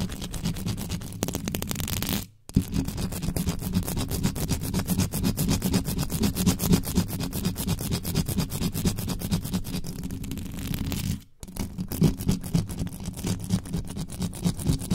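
Fast, aggressive scratching with the tips of very long nails from both hands on a black microphone's bare metal mesh grille, with no cover over its hollow head. The result is a dense, continuous scraping and rustling with a strong low, boomy rumble, broken by two brief silent gaps near 2.3 and 11.3 seconds.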